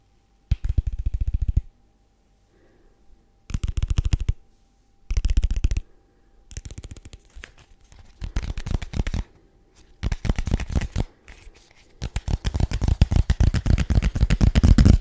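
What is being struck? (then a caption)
Small rigid paperboard box. A small, hollow, white rigid paperboard box is tapped and scratched with fingertips and nails. Bursts of rapid, dull, low-pitched taps alternate with brief pauses and softer scratching, ending in a longer, denser run of tapping that grows louder.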